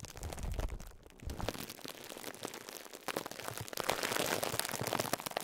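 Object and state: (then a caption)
Plastic-wrapped foam sponge. Fingertips press down on the top of a pink and yellow foam sponge wrapped in clear cling film, crinkling the plastic. Dense, crackly rustling pops and snaps fill the clip, with soft low thumps early on. The crinkling grows brighter and louder toward the end.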